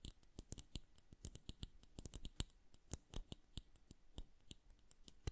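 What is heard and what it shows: Long nails tap and scratch on the glass bulbs of a bubble hourglass filled with blue liquid. Around two dozen quick, dry clicks come at an uneven pace, each with a bright, high glassy tick and almost no ring. The sound is quiet and close.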